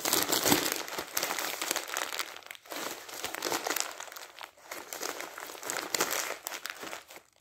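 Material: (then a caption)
Paper. Loose, crumpled glossy magazine paper resting on top of a stack of magazines is grabbed and crushed in the hand with the fingers. Dense, bright crinkling and crackling comes in bursts with almost no low end, separated by short lulls. The sound thins and fades out at the end.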